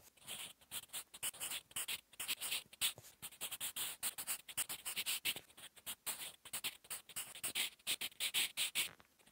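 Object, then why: Graphite pencil on a paper notebook page. A sharpened wooden 8B pencil, held in the fingers, writes on a flat sheet of lined drawing-paper notebook resting on a solid surface. Quick, continuous graphite scratching strokes of handwriting come in rapid bursts. The sound is dry, bright and hissy, with almost no low end.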